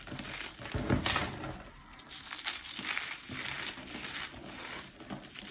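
Fingertips with long painted nails squeeze and crush a pile of dried cornstarch blocks, solid, brittle and chalky, resting on a marble surface. Dense, bright crunching and crackling rises and falls in uneven bursts, loudest near the start and middle, as the pieces crumble into powder.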